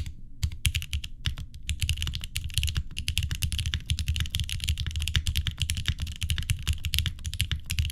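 A green-cased mechanical keyboard with an aluminum plate, linear switches, and cream plastic keycaps sits on a wooden desk while both hands type with the fingertips throughout. The result is a steady, dense stream of short, deep clacks with a bright click on top. Each keystroke dies away almost instantly.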